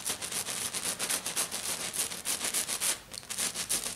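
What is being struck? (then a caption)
Glitter-covered flat sheet. Both hands with black nails tap and scratch hard and fast across a flat silver glitter-covered sheet. About fifteen quick, irregular bursts of bright, hissy scraping and crackly tapping are heard, with almost no low end.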